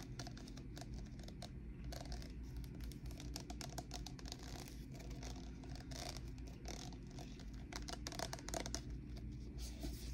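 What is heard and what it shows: Long painted nails tap and scratch along the ridges of blue-and-white ribbed plastic party cups, hollow and empty and seemingly stacked, held close. Quick, light, clicky taps and raspy scratches run steadily throughout over a low, constant hum.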